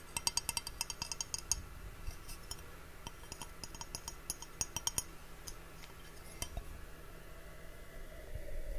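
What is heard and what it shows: An empty, hollow clear glass mug with a handle, held in both hands, is tapped with fingernails and fingertips. Light, bright clinks come in quick bursts and die away almost instantly over a low, steady background hum. Near the end, a soft, broad noise swells up.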